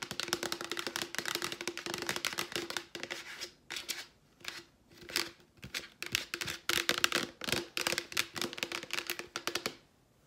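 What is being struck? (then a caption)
Plastic wipes canister. A Clorox plastic wipes canister, held upright, is tapped rapidly with long nails on its label and sides. Bursts of quick, dry, bright clicking taps are separated by brief pauses, with a faint steady tone underneath.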